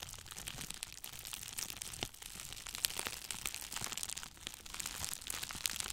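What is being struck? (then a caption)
Plastic bubble wrap. Two clear plastic bubble wrap cones are held in both hands and squeezed and crinkled with the fingers in front of a microphone. The result is a steady, bright crinkling texture dotted with sharp, quick crackles and snaps that stop almost instantly, with little low end.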